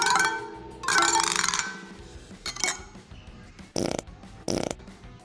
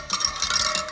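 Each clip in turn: First: loose, under-tensioned motorcycle wheel spoke. Second: properly tensioned motorcycle wheel spokes.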